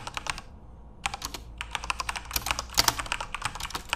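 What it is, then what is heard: Plastic mechanical keyboard. Fingertips type on a full-size RGB-backlit Corsair mechanical keyboard with plastic keycaps. Quick, bright, clacky keystrokes come in rapid bursts, with a brief pause near the start before typing resumes. Each click is short and crisp with almost no ring.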